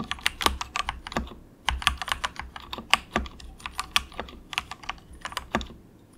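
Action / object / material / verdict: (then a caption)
tap / plastic mechanical keyboard keys / plastic / none. Fingertips of both hands softly type in quick taps on a cheap compact mechanical keyboard with grey and orange plastic keycaps and a hollow plastic case. The result is a steady stream of short, bright, clacky keystrokes centred around 1.1 kHz, with slightly louder bottoming-out hits now and then and almost no ring after each press.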